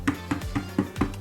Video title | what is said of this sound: 집에 다트머신이 들어왔습니다. 다트비트 홈보드 DBH100 리뷰 | 보드판은 제가 지금 두들겨 보니까 단단합니다. 진짜.